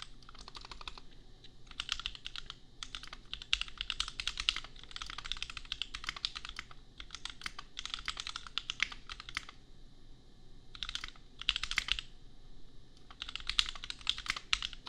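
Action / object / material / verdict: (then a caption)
tap / plastic mechanical keyboard / plastic / none. Fingertips type continuously on a compact $250 custom mechanical keyboard with Gateron Milky Yellow switches and red and pink plastic keycaps. Rapid bursts of bright, crisp plastic clacks come in runs separated by brief pauses, each keystroke dying away almost instantly over a faint low hum.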